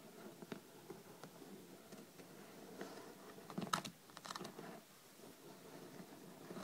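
Long red nails scratch and tap the top cover and edges of a thick, solid hardcover paper book lying flat on a table. Quiet, dry scratching runs throughout, broken by short sharp taps and a brief louder cluster of clicks near the middle, with no ring after each hit.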